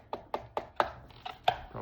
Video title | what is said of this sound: Hyper Go 14301! First look! | sounds like plastic to you guys but it definitely is metal